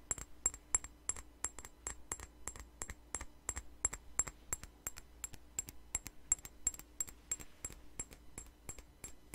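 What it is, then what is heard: Glass perfume bottle. Long nails tap a small glass perfume bottle with a flower-shaped cap in a quick, fairly steady run of sharp clicks. Each tap is a brief, bright glassy tick with a high ring that dies away almost instantly over a faint low hum.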